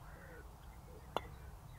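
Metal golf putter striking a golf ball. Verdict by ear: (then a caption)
Tinny. A golf ball is struck once with the larger Benross Tribe MD1 putter's metal head. The result is a short, sharp click with a tinny ring around 900 Hz that dies away almost instantly over low background rumble. It sounds louder and harsher than the smaller model.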